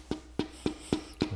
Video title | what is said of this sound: Métrologie moteur : Les secrets de performance révélés par un pro ! ⚙️ | il y a pas de bruit aiguë donc là c'est bon